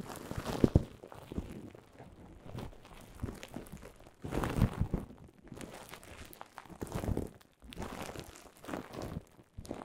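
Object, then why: Plastic bubble wrap. Clear plastic bubble wrap laid over a microphone is crinkled and scratched with long nails, giving close, low-heavy crinkling and crunching in uneven bursts. Soft scratches and small pops sit between louder rustling swells.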